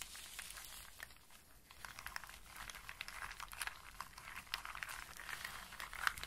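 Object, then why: Pile of in-shell walnuts and hazelnuts. Long-nailed fingers scratch and rake through a loose pile of dry walnuts and hazelnuts in their hard shells on a flat surface, rubbing the shells together. A steady, dense stream of bright, dry clicks and crinkly scraping fills the clip, with sharper knocks standing out as the raking grows busier toward the end.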